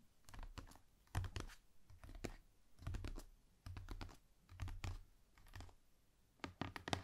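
Long painted nails and fingertips tap fast on the lid of a large, rigid, hollow cardboard gift box. Quick clicky taps come in irregular bursts, each with a low, hollow thump that dies away almost at once.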